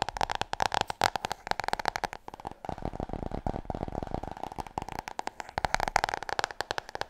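A large, glossy, solid hardcover book is tapped rapidly and scratched with long nails. Dense, dry clicks with a faint mid-range ring run throughout, giving way to a smoother, continuous scratching stretch in the middle before the fast tapping returns.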